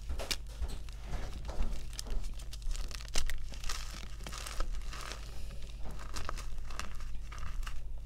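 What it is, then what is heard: Gym chalk chunks being crumbled. Bare fingers crush and crumble solid chunks of white gym chalk (magnesium carbonate) dusted with pink, over a pile of powder, with powder falling. Dense, crunchy crackles and gritty crumbling fill the clip, punctuated by brief, bright snaps as pieces break. A steady low hum sits underneath.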